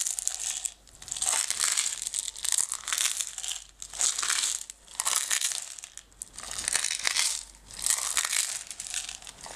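Long red nails scratch and tap the sides and lid of a closed, clear plastic jar full of green decorative stones. The result is bright, dry crinkling and rustling in swelling bursts, with dense quick taps and almost no low end.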